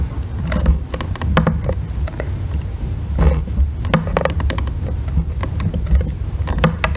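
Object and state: Bar soap being scraped.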